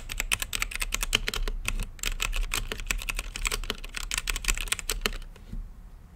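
Fingertips type quickly on a mechanical keyboard with plastic keycaps and a clear acrylic lit case. A dense run of short, bright clacks rides over a low steady hum, each keystroke dying out almost instantly. The typing thins out and stops near the end.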